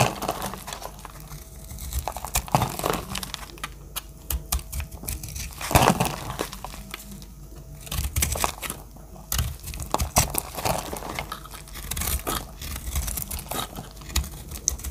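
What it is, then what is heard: Dry soap bar being cut. A solid, oval, pink-purple terrazzo-pattern dry soap bar is held in the hand and cut and scraped with a metal blade, crumbling into flakes. Dense, dry crackling and crumbling scrapes with sharp clicks repeat throughout, over a low steady hum.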